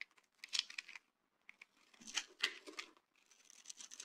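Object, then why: Bar of soap scraped with a knife. A hand-sized solid yellow bar of dry soap, held in one hand, is scraped and shaved with a dark-bladed, orange-handled knife, producing crumbly shavings. The sound is a series of quiet, bright, dry scratching and crackling bursts with short gaps between them, ending in a steadier high scraping hiss.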